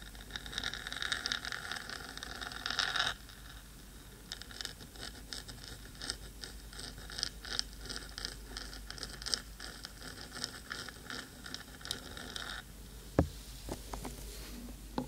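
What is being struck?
Metal microphone body.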